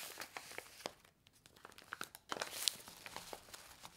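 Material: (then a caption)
Paper foil. A handheld stack of small, flat, laminated paper-foil instant soup sachets filled with dry soup powder is bent, squeezed and riffled by hands with long nails. The result is quiet, bright, dry crinkles and crackles with almost no low end. After a brief lull comes a denser burst of sharp crinkling.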